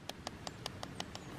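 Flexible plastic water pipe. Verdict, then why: Full. Seven quick taps on the water-filled flexible plastic delivery pipe (the up spout) of a ram pump, each a short click that dies away almost at once. The pipe is heavier with water and sounds different from the hollow downspout, which shows how far the water has reached.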